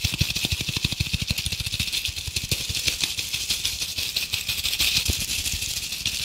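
A fist-sized red glitter-coated apple ornament, held in both hands, is scratched and tapped rapidly with long painted acrylic nails. The result is a dense, steady stream of bright, crackly scratching over quick, short low taps.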